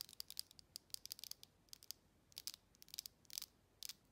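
Long red acrylic nails tap and scratch the textured walls and base of a hand-sized, hollow faceted glass jar with a metal lid. Quick bursts of crisp, bright clicks and scratchy ticks come in uneven clusters, each dying away almost instantly with a high, glassy edge and almost no low end.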